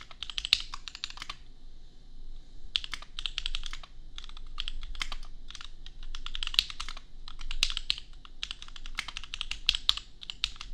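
Fingertips of both hands type on a compact $250 custom mechanical keyboard with Gateron Milky Yellow switches and red/pink plastic keycaps. Rapid bursts of bright, crisp clacks stop dead with no ring and are separated by short pauses. A steady low background hum sits beneath them.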